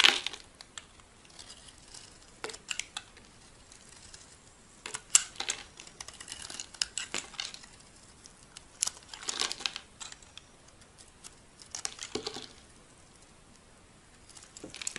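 A solid white rectangular bar of soap, held in the hand, is shaved with a metal utility blade into thin sheets. Bursts of crisp, dry scraping and crackling sit almost entirely in the high, bright range with very little low end. Quiet pauses fall between the strokes.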